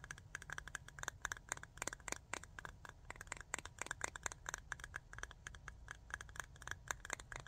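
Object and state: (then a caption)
Rhinestone jar with metal lid. Long nails rapidly tap and scratch the ridged aluminum screw lid of a small clear jar full of rhinestones. The result is a fast, uneven stream of short, bright metallic clicks with a slight tinny ring. A steady low rumble runs underneath throughout.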